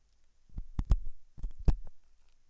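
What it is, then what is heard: Silicone ear model being scratched. A hooked metal dental tool scratches inside the ear canal of a white translucent silicone ear model made of soft solid rubber. The result is a series of short, dull, low-pitched scratches and thumps with bursts of bright rasp, in a quiet space.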